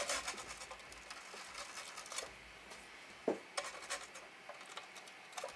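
An orange toothbrush scrubs back and forth across the left speaker grille of a large, hollow, black plastic Panasonic cassette boombox lying on a blue mat, while the other hand steadies the case. The result is quiet, dry, bright scratching and rubbing in short bursts, with one sharper, lower-pitched knock partway through.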